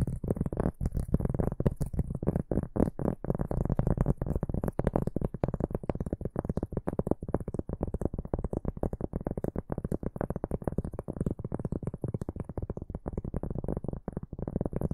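Fingertips and nails of both hands scratch and tap the textured surface of a round solid cork board held upright. The result is a dense, continuous stream of short, dull, low-heavy taps and scratches with almost no ring, plus faint bright hiss above.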